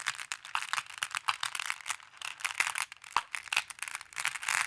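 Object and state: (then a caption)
Glass decorative pebbles. Flat hands and long blue nails press on, tap and scratch over a pile of small, solid, colored glass decorative pebbles in a wooden tray. The result is a steady stream of bright, dense clicks and clattering rattles as the pebbles shift against each other, with quick, dry taps and no low rumble.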